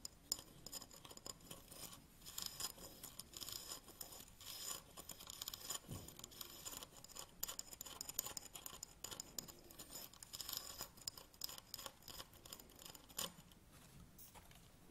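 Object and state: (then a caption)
Ribbed plastic tripod handle. Fingernails scratch along the ribbed black plastic and rubber handle of a tripod pan head held close up. The result is a steady stream of quiet, dry, bright scratching and rasping with many quick short scrapes, some briefly louder than others.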